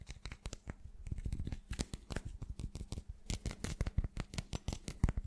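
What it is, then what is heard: Glass chunk, rapidly tapped. A solid, irregular chunk of translucent teal glass is held close to the microphone and tapped rapidly with the fingertips and short nails. It gives a quick, uneven run of short, dry taps and clicks with a soft, low, thumpy body and bright edges. Each tap dies away almost instantly with no ring.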